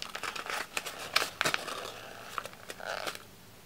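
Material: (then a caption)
Paper. A thin, red patterned sheet of wrapping paper, already crumpled, is squeezed and crumpled between the fingertips of both hands held close up. It produces a quick, irregular run of bright, dry crinkles and sharp crackling pops with almost no low end, then fades to quiet near the end.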